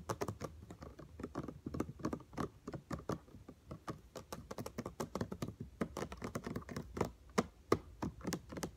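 Fingertips and nails tap around the white and blue plastic trigger head and neck of a yellow all-purpose cleaner spray bottle. A rapid, uneven stream of short, dry plastic clicks and taps follows, with slight pauses between bursts and almost no ring after each hit.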